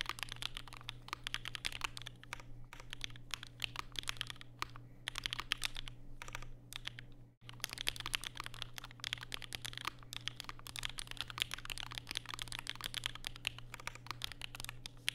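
Fingertips type continuously and rapidly on a compact black mechanical keyboard with plastic keycaps and Durock POM switches, set on a desk mat with a white wrist rest. The dense run of short, bright clicky taps and clacks sits over a low steady hum, with a brief near-silent pause around the middle.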